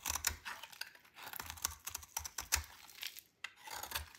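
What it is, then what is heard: Dry soap bar being shaved. A metal blade shaves a dry, solid purple soap bar into thin strands. It makes a quick run of crisp, bright scraping and crackling sounds with sharp ticks and soft low thumps, then stops briefly and starts again.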